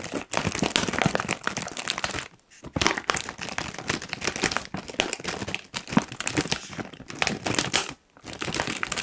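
A medium-size, puffed and apparently full Kettle crisps bag of foil-lined plastic is crinkled and squeezed with the fingertips of both hands. The result is dense, bright crackling and rustling that runs almost continuously, with brief quiet pauses around 2.3 and 8 seconds.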